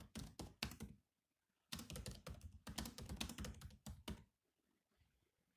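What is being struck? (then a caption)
Laptop keyboard, plastic keys. Fingertips of both hands type fast on the black plastic keys of a grey laptop keyboard, making quick clicky taps with a soft thunk and a bright click on top. A short burst of typing breaks off into a brief pause before two longer, denser runs of rapid key taps, which then fade to a few faint clicks.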